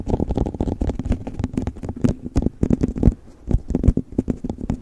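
An empty clear plastic cup sits upside down over a furry microphone cover and is tapped rapidly with fingertips and nails on its sides and bottom. The taps come as quick, hollow, muffled thumps with a deep low boom and almost no high end. Each tap dies away almost instantly, with brief pauses between bursts of tapping.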